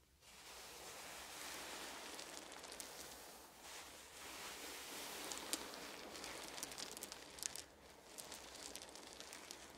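Both hands press down on a pile of small solid wooden beads resting on a blanket, rubbing it and gathering the beads with the fingers. A steady, bright, dense rustle of tiny clicking beads builds quickly and carries on with brief dips in the middle, while sharper high clicks poke out near the end.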